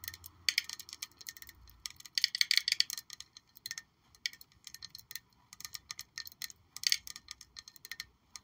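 A black glossy glass perfume bottle shaped like a high-heel shoe with a gold heel is held up and tapped with long nails. Quick bursts of bright, crisp clicking taps come in uneven clusters, each tap dying away almost instantly with a faint high glassy tink.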